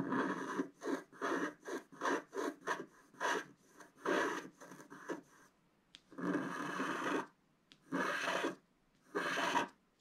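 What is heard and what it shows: A wooden scratch stylus held in the fingers scratches lines into the coating of a flat, black-coated scratch-art card, about A4 in size, lying on a table. A quick series of short, dry scraping strokes is followed by three longer, steadier scratches separated by brief silences. The scraping is a breathy, rasping texture centred around 1 kHz.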